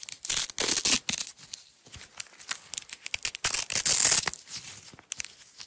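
A roll of yellow nylon hook-and-loop (Velcro) strap is held in the hands, its layers peeled apart and pressed back together with long acrylic nails. Bright, raspy tearing bursts alternate irregularly with quieter crackling and clicking. The sound is almost entirely high-pitched, with very little low end.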